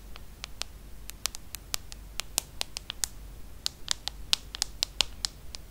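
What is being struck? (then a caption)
Smartphone with glass screen and aluminium frame. Long acrylic nails tap and scratch the glass screen of a small, solid aluminum-and-glass iPhone held flat, its aluminum frame around the glass. About 25 short, sharp, bright clicks come at an irregular pace, peaking near 3.8 kHz and dying out almost instantly, with faint scratching and a low hum between them.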